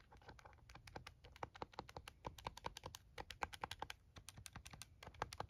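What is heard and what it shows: Fingers and nails tap quickly across the buttons of a plastic scientific calculator held in both hands. The result is a rapid, uneven run of short, dry clicks with a hollow plastic tone centered around 830 Hz and brighter edges on some taps. Each click stops almost instantly with no ring.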